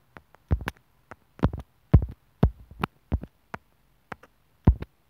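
A thin steel sewing needle taps and scratches on the top of a small white plastic inline mic and remote from an earphone cable, near the mic hole, its hollow housing lying on a bamboo wood table. Short, irregular clusters of sharp taps and brief scratches come through as dull, bassy thumps with quick bright clicks that die away almost instantly.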